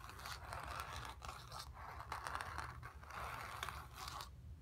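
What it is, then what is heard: Painted cotton canvas being scratched. Long nails scratch the dark lower area of a stretched, painted cotton canvas with a hollow back. The result is a run of dry, raspy scraping strokes centred in the midrange, with a bright edge and a low hollow rumble underneath. The strokes come in continuous bursts with brief pauses before a quiet tail.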